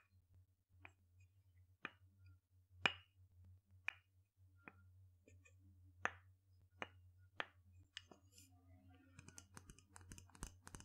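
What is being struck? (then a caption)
Wooden mortar and pestle. A small, light, hollow wooden mortar bowl, apparently empty, is struck and tapped with a wooden pestle. Sharp, dry wooden knocks with almost no ring come about once a second, then give way to quicker, lighter taps at the end. A steady low hum runs underneath throughout.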